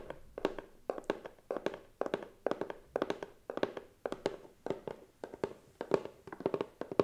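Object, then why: Closed cardboard box. Fingernails and fingertips tap the lid and side of a medium, closed, hollow white cardboard gift box decorated with gold stars. Quick bursts and clusters of short, dry, hollow taps sit around a mid pitch of roughly 400 Hz. Each tap dies away almost instantly, with very little ring.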